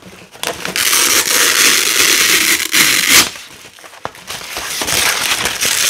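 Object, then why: Nylon hook-and-loop fastener strip. Fingers with long nails rip apart blue loop and black hook strips of thin nylon hook-and-loop fabric. A loud, crackling, bright tearing rasp runs from about 0.4 to 3.3 seconds, dips to a quieter crackle, then builds into another sustained rip through the end. The sound is almost entirely high-pitched, with no low rumble.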